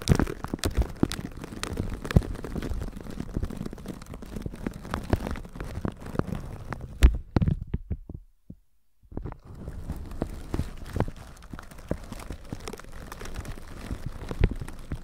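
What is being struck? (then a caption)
Plastic shower cap over a microphone, brushed with a bristle brush. A plastic shower cap stretched over a microphone is brushed with a flat red-bristle brush on a white plastic handle. The sound is a dense, muffled, low rumbling scrape with many quick soft thumps and crinkles, dropping to near silence briefly after about eight seconds before the brushing resumes.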